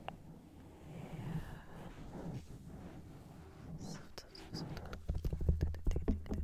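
Long painted nails, pink and neon yellow, on both hands scratch and tap a soft, porous black foam windscreen about the size of a fist, fitted over a solid microphone body. A muffled, low rumbling scratch fills the first few seconds. It then gives way to quicker, sharper taps with deep thumps and bright clicks toward the end.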